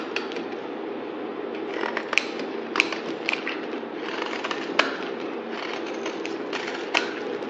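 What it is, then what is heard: Bar soap being shaved. A utility knife blade shaves and scrapes a solid yellow bar of soap held in the hand. A steady, dry, papery scraping hiss runs throughout, broken by sharp, bright clicks and crackles as the blade cuts into the bar.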